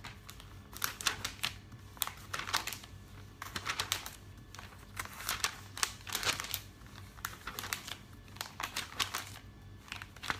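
Fingertips with long nails rub and flip the glossy pages of a thick, open paper catalog. Repeated bursts of crisp, bright crinkling and rustling are heard, with quick tapping ticks and short quiet gaps between the page movements.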